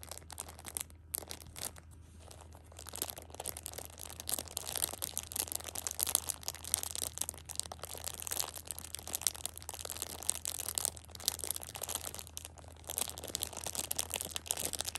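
A flat hand rubs the plastic wrap of a pocket tissue six-pack, then squeezes the pack's edge to crinkle the plastic. Dense, bright crinkling and rustling starts softly and grows busier and louder after a few seconds, over a steady low hum.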